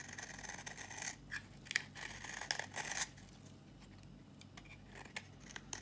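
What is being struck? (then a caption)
Bar of soap shaved with a flat blade. A solid, dry red bar of soap is held in the hand and shaved with a flat blade, and brittle flakes come off. Crisp, bright scraping and crackling strokes fill the first three seconds, followed by quieter, scattered dry clicks and scrapes.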